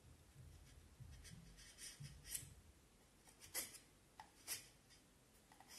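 A knife blade is pushed along a solid pale vine wood stick held in both hands, shaving and scraping the wood. Quiet, dry rasping strokes with a bright, hissy edge sit over a soft low rumble, and three sharper scrapes stand out before fading quickly.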